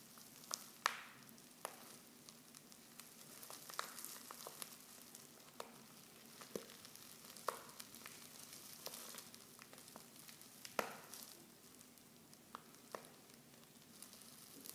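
Fingers with long nails crinkle a silver foil Pickwick tea pouch that is half full of loose tea leaves and open at the top. Soft, bright, sizzling rustles are broken by many sharp, quick crackles and ticks, with leaves shifting inside. A faint steady low tone sits underneath throughout.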